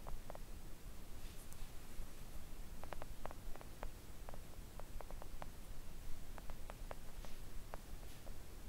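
Long coffin-shaped press-on nails gently tap a flat, thin, solid pink silicone mat lying on a table. Soft, quiet clicking taps come at an irregular pace over a steady low background rumble, each tap dying away almost instantly.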